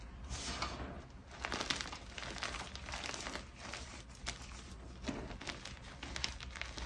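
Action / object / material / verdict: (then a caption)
scrape / chunks of gym chalk (magnesium carbonate) / magnesium carbonate / none. Fingers pinch, crush and rub small pieces from a mound of soft white gym chalk (magnesium carbonate), crumbly chunks and powder. The result is a steady run of dry, gritty crunching and crinkling with soft, bright, scratchy bursts and no ringing.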